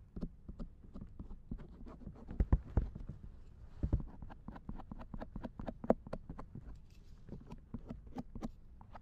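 A silicone ear on a binaural dummy head microphone, lying in a lap, is scraped with a thin wooden or bamboo ear pick. The result is a dense, steady run of soft, short scratching ticks, each with a brief bright edge over a low, muffled rumble. A few louder thumps stand out along the way.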